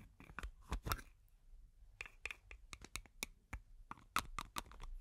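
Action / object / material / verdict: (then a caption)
tap / metal aerosol can / metal / none. A medium green cylindrical metal aerosol foam can with a white plastic cap, hollow and pressurised, is held in one hand close to the microphone and tapped and scratched along its body with long nails. Quick, dry clicks and scratchy strokes come in irregular bursts, bright with a faint metallic ping around 1 kHz and almost no ring.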